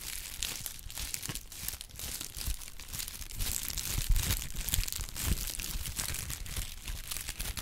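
A folded brown honeycomb kraft paper pad is rubbed and crinkled with the fingertips. It makes a steady, irregular stream of dry, crackling rustles with bright, hissy high texture and a soft low rumble underneath. A few louder crunches stand out near the middle.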